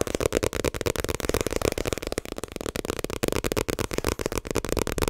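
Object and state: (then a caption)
Paperback book. A small paperback My Hero Academia manga volume is held close and quickly tapped and rubbed with fingertips and nails on its paper cover and edges. The result is a rapid, dense stream of short, dry papery taps and scratchy rustles, with a warm midrange body and a faint bright edge.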